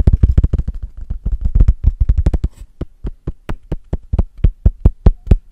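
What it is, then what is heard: Cork coaster. Fingertips and short nails quickly tap and scratch the face of a small, flat, solid square cork coaster held close to the microphone. A rapid, dense run of dull, low thumps with very short decay gives way to more evenly spaced, distinct taps in the second half.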